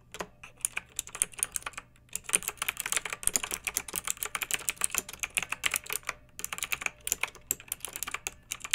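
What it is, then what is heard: Plastic mechanical keyboard. Long-nailed fingertips type on a pink plastic mechanical keyboard with round retro plastic keycaps and blue backlight, resting on a fluffy rug. A steady stream of quick, bright clicky keystrokes with almost no low end and no ring, broken by two brief pauses.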